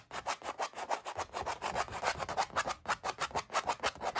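Short nails on both hands rub and scratch across a stretched oil-painting canvas with ridged paint, while one hand wears a metal ring. About two dozen quick, slightly uneven scratchy strokes come at roughly three per second, each a dry, bright rasp centred in the midrange with almost no low end.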